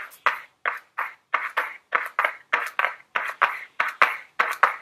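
Very long blue nails tap and scratch a small, flat Ellen Tracy cardboard makeup palette box held in the hands. About fifteen short, dry taps come in an uneven rhythm, each with a brief papery scrape and a midrange tone that fades almost at once.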